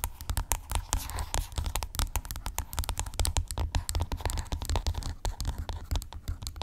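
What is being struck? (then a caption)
Plastic skincare tube. Long acrylic nails scratch and tap rapidly along a hollow white plastic skincare tube lying flat. The result is a dense run of quick, dry clicks and scrapes with a soft, low hollow thump under each tap and bright scratchy edges, each sound dying away almost instantly.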